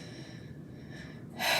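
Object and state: Nothing is struck.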